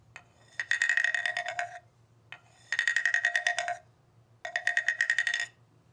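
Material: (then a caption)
Bamboo. A long hollow bamboo tube with a ridged slatted section, lying on carpet, is tapped and scraped along its ridges with a thin wooden mallet. Three quick runs of bright, dry wooden clicks ring with a hollow tone near 1.9 kHz and a lower body note around 700 Hz. Each run lasts about a second, with short pauses and single soft taps between them.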